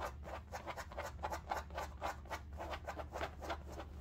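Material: Fabric.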